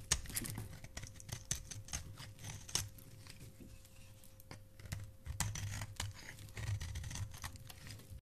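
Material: Soap.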